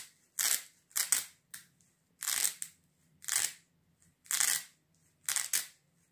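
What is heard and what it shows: A hand-sized sandal with a dark fabric velcro strap and a rubber-foam sole is held in one hand while fingertips grip and pull at the strap, peeling and rubbing the velcro. This makes a series of bright, hissy ripping bursts, each lasting under a second, separated by short quiet gaps over a faint low hum.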